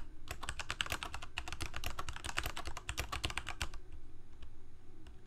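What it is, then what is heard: Plastic mechanical keyboard. Fingertips of both hands type continuously on a full-size black plastic Corsair K68 gaming keyboard with backlit keycaps, Cherry MX Red switches and a hollow plastic case. A rapid, dense stream of bright, clacky keystrokes over a low, hollow thump runs for about three and a half seconds, then thins to a few scattered taps before the clip ends.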